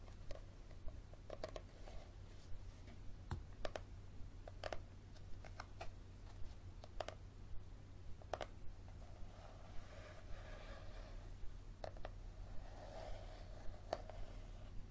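Fingernails tap and scratch the front cover of a small, thick, solid yellow paperback handbook with a leathery cover, held above a table. Quiet, crisp clicks land at an uneven pace, with soft raspy scratching strokes toward the end over a steady low hum.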